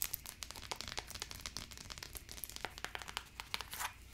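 Long acrylic nails tap and scratch quickly on the branded insole and wide strap of a single black faux leather high-heeled slide sandal. The result is a dense run of sharp, bright clicks and crinkly scrapes with very little low end, each tap dying away almost instantly.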